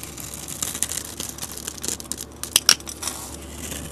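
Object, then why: Coated soap bar and metal blade. A metal utility blade scrapes and cuts the scored surface of a hand-sized solid white Ivory soap bar with a bronze coating, carving it into white soap flakes. A steady dry, bright scraping hiss is broken by short crackling ticks. Two sharper, louder snaps come near the end.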